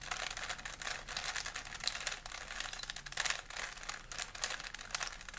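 Fingertips twist the layers of a small solid plastic 3x3 Rubik's cube held in both hands, producing rapid, dense plastic clicking and clacking. The sound is bright and crisp, with very little low end, and continues in quick bursts throughout.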